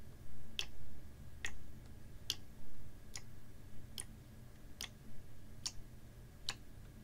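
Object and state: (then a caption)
Plastic water bottle. A clear, ribbed PET water bottle, capped and about half full of water, is held horizontally and tapped with fingernails. Eight short, bright ticks come at a slow, steady pace, each dying away almost instantly over a low, soft rumble.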